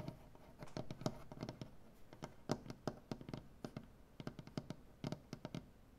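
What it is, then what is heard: Wooden butcher block table tapped with fingernails. Fingernails on both hands tap and click across a solid, light wood butcher block tabletop. Quick, dry, irregular taps come in uneven bursts, each a short woody knock with a bright click on top that dies away almost instantly over a soft, low background hum.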